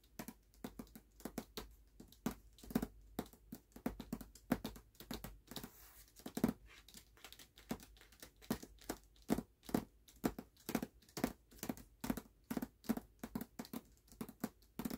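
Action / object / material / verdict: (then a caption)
tap / hardcover book with paper dust jacket / paper / none. Fingernails rapidly tap and scratch on the paper dust jacket of a closed hardcover book lying on a black cloth. The result is a quick, dense run of crisp, papery clicks and dry scrapes with short, dull thuds underneath. Each sound fades almost instantly, leaving a quiet background.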